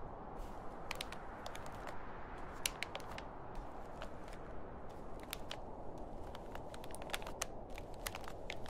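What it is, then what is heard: Plastic shopping bag. A large, thin, grey printed plastic shopping bag lies empty and folded on a table while fingertips and a palm rub, grip and crinkle the plastic film. A steady, dense low rustle runs throughout, dotted with many sharp, bright crackles that snap and die away almost instantly.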